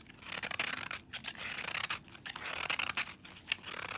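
A palm-sized green and blue foam sponge, frozen solid with soap and held in brown knit gloves, is shaved with a metal utility-knife blade, making icy shavings. Quick, dry, bright scraping strokes come in rough bursts, with almost no low end and no ring after each stroke.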